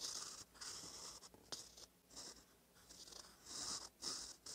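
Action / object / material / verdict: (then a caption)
scrape / metal pen nib on lined paper / paper / none. A gold metal fountain pen nib, held by the fingertips, scratches across a thin cream lined notebook page while writing cursive. Soft, bright, papery scratching comes in short bursts of strokes separated by brief quiet pauses, with one sharper tick partway through.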